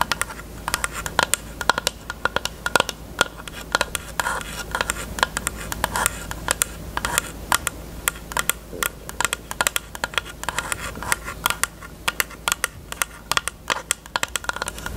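Long nails tap quickly on a closed, hollow pink hard plastic rectangular case with a cherry print. The result is a rapid, uneven stream of sharp, bright clicks with a hollow plastic tone and almost no ring, over a faint steady low hum.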